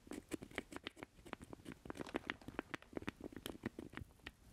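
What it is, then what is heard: Plastic joystick controller. Fingertips and nails tap and scratch the small hollow square base of a black plastic Atari-style joystick with a rubber boot, held in both hands. The result is a quiet, rapid, uneven patter of dry, hollow plastic clicks with a low-mid body. Each tap dies away almost instantly, with thin, bright scratchy edges between them.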